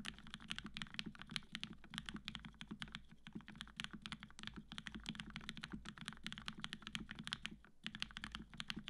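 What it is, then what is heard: Mechanical keyboard being typed on. Steady typing with the fingertips of both hands on a black-cased tenkeyless Matrix 8X V2.0 mechanical keyboard with cream PBT keycaps, an aluminum plate and 65g retooled black switches fitted with Gateron Yellow springs. Rapid, dense keystrokes give short, dry, bright clicks over a fuller low thock. The keyboard sounds solid.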